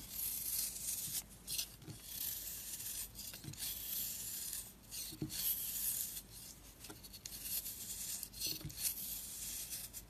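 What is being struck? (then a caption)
Bar of soap shaved with a metal blade. A metal blade scrapes across the face of a handheld, solid round disc of marbled purple and orange soap, shaving off curls. The result is a dry, bright, hissy scraping in repeated strokes separated by brief pauses, with little low end.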